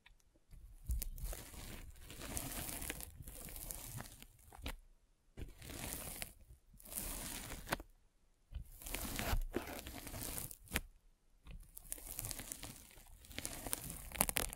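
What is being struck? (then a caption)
Polyethylene foam mesh sleeve rolled with a spiked roller. A derma roller held vertically is rolled down the top of a white polyethylene foam mesh net sleeve fitted over a microphone. It makes dense, crunchy, pricking crackles with bright tearing textures. The sound comes in several separate rolling passes divided by short silences.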